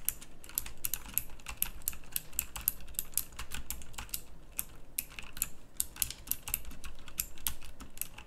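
Fast fingertip typing on a full-size backlit pink mechanical keyboard with round plastic typewriter-style keycaps. A dense, steady stream of sharp, bright clicks with very short ring and a low background rumble runs throughout.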